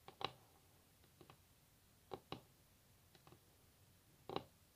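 Long natural nails tap on a solid varnished wooden tabletop, making soft, dry clicks that come in loose pairs with quiet gaps between them. Each tap is short and crisp, with a woody mid tone, a bright edge and almost no ring.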